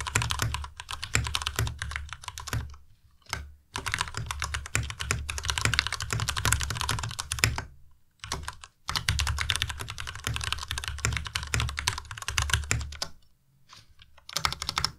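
Fingertips of both hands type fast on the plastic keycaps of a white plastic Ducky Miya Pro tenkeyless mechanical keyboard. The result is a dense stream of sharp, bright clacks with a low thock under each keystroke. The bursts break for short pauses near 3, 8 and 13 seconds.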